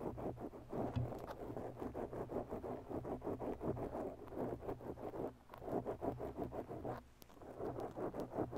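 Long bare natural nails slowly scratch a soft, porous black foam windscreen on a microphone. The result is a steady run of close, muffled scratching and rustling strokes, dull and low-mid in tone with a faint low hum underneath. The scratching briefly thins out twice before resuming.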